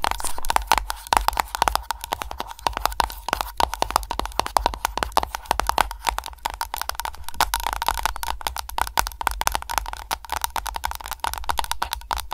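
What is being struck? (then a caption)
Candle container tapped with fingernails. Long nails tap rapidly on an aroma candle container, producing a dense stream of short, dry clicks with a ringing tone near 880 Hz, mixed with scratching and lid sounds. The hits run together too quickly to count.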